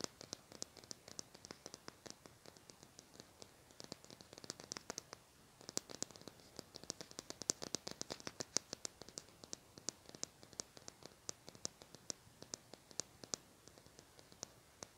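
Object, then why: Plastic highlighter pen. A small, hollow lilac plastic highlighter marker, held in the hand, is scratched and tapped with fingernails. Dozens of quick, dry, bright clicks and scratches follow one another in an uneven run, each dying away almost instantly over a quiet hiss, with very little low end.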